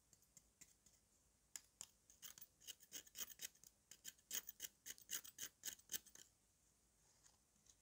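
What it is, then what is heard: Dry mud cake scraped with a knife. A metal knife with a yellow handle scrapes and shaves the crumbly surface of a thick, solid lump of dry red mud resting on red powder. Faint scratches at first build into a quick, uneven run of short, dry, bright rasping scrapes through the middle, then fade back to quiet, sparse scratches near the end.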